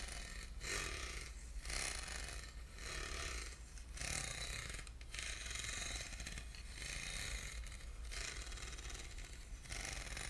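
Short nails scratch across the grooved ribs of a small, hollow, silver aluminum box held in the hand. Repeated bright, rasping strokes come about once a second over a steady low hum, each with a faint hollow resonance.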